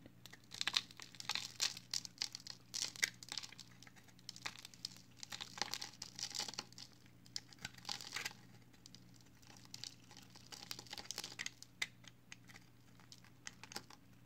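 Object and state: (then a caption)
Pressed soap bar being shaved with a blade. A utility knife blade with an orange handle shaves and scrapes flakes off the edge of a solid, pale green, hand-sized pressed recycled soap bar held in one hand. Many quick, dry, crinkly scrapes and crunchy flaking sounds come in uneven bursts, bright and crisp, over a faint steady low hum.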